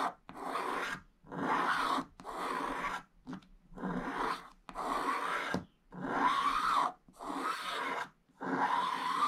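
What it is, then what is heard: Scratch-art paper being scratched. A pointed wooden stick scratches the black coating off a thin, solid scratch-art card page in a book, revealing the purple layer underneath while the other hand holds the page. About nine separate, dry rasping strokes, each lasting up to a second, are heard with short silent pauses between them, and the scratchy sound is centred in the midrange.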